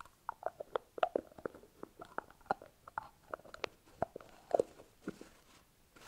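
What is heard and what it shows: A small white hollow plastic tub with a blue lid is turned in the hands while fingernails tap and scratch the lid and the labelled body. About twenty short, dry clicks and taps sound with a hollow tone around 650 Hz, separated by faint scratching. Each tap dies away almost instantly.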